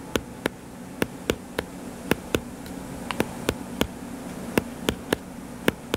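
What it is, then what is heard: Paperback book. Fingernails scratch and tap the cover of a solid, purple-covered paperback book lying flat, producing 16 short, sharp clicks spread unevenly over six seconds. Each click is crisp and bright and dies away almost at once, over a faint, steady low hum around 200 Hz.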